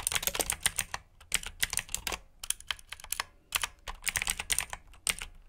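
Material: Plastic.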